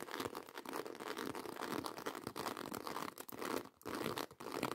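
Long white acrylic nails scratch and tap fast across a black croc-embossed faux leather handbag. The result is a dense, continuous scratchy rasp broken by quick, crisp taps, with most of the energy in the low-mids and upper-mids and very little deep bass.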